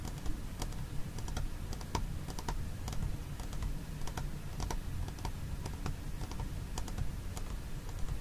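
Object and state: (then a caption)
Plastic food container. Fingernails tap and scratch the side wall of a small, hollow white plastic food container with its lid on, held on its side. Quick, dry clicking taps with bright edges sound over a steady low rumble and soft scratching, each tap dying away almost at once.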